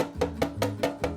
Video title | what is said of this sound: Baking T-Rex Cookies and Monster Bites | Like it sounds hollowower. I think that means they release.